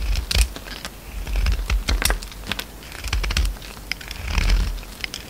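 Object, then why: Bar of soap. A utility knife blade shaves and scrapes crumbly pink soap from an oval solid bar with a green coating, held in the palm. Quick, crisp scraping and crackling bursts with bright clicks come over a soft, low rumble. The shaving comes in uneven waves of louder and quieter strokes.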